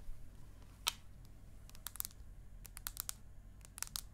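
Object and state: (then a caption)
Aluminium tablet back tapped with nails. Long acrylic nails and a fingernail tip tap on the aluminium back of an iPad mini, held horizontally and vertically. Short, bright, dry clicks come in scattered bursts with almost no ring, over a faint low hum.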